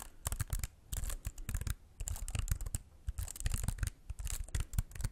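A slim white wireless keyboard with plastic keys and a hollow, flat body is held in both hands in front of the mic while fingertips tap and press the keys. Quick, uneven bursts of soft clacks are heard, each with a dull hollow thump underneath and a bright, crisp click on top. Every tap dies away almost instantly between the clusters.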